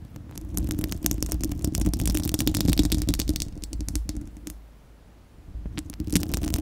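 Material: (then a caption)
Steel. Long acrylic nails on both hands scratch and tap the bare, hollow, fist-sized spherical steel wire-mesh grille of a microphone. The result is a dense, rapid run of scratchy clicks over a heavy low rumble. The sound drops to a near-silent lull partway through, then the scratching and tapping resume.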